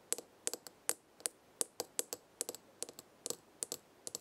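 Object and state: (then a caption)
Small glass herb jar. Long red nails tap the glass side of a small glass herb jar with a gold lid, full of herbs, about eighteen times in irregular pairs and singles. Each tap is a short, bright, glassy click that dies away almost at once, with a high, thin ring and nothing in the low end.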